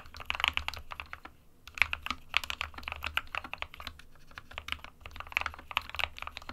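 An SK61 small 60% mechanical keyboard, with a plastic case and plastic keycaps and hollow with switches inside, is typed on continuously by the fingertips of both hands. The keystrokes are quick, bright, dry clacks in rapid irregular bursts with no ring, with a brief lull near 1.5 seconds, over a faint low hum.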